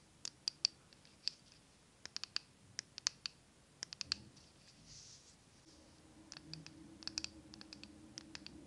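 A small glass jar candle filled with green wax and wearing a paper label is turned in the hands while long nails tap and scratch the glass and label. Bright, sharp clicks come in scattered clusters over faint soft scratching and a low background hum.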